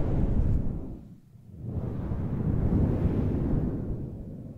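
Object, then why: Synthetic fur microphone windscreen. Fingers with long nails stroke and rub a large, fluffy grey faux fur microphone windscreen, producing a deep, muffled, rumbling rustle. The sound swells and fades in slow waves, dipping quietly around the one-second mark before building back up.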